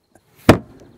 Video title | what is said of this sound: 75L CHILLY BIN REVIEW (w/ Paul Senior from Oceanangler) | what I really like is this sound you know it sounds solid